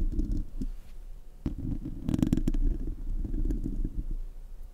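Fingernails scratch and rub across the bare, hollow metal mesh grille of a silver Blue Yeti USB microphone. The result is a close, low, muffled rumbling scrape with short bright scratchy bursts, busiest around the middle.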